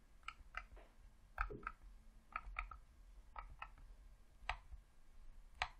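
A thumb presses the D-pad and thumbstick of a hollow red plastic Xbox controller, producing eleven quiet, irregularly spaced clicks. Each click is short and dry, with a plasticky tone around 1.3 kHz and a bright edge, over a low background rumble.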